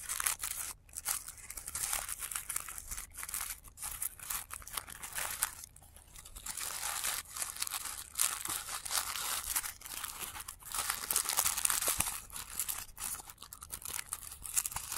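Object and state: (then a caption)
Tissue paper flower being crumpled. Fingers squeeze and rustle a palm-sized blue tissue paper flower pom-pom made of layered thin paper, with the sound played in reverse. Dense, bright crinkling and crunching fills the clip with almost no low end, broken by brief quiet gaps between squeezes.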